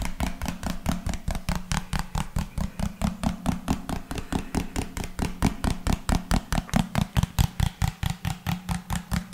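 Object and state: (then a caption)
Plastic lotion bottle. A hand-sized, hollow white-and-pink plastic lotion bottle with a rounded pink cap is held in one hand and tapped with the fingertips of the other close to the microphone. About 45 quick, dull taps come in a steady run, with a low body and a faint bright click on each.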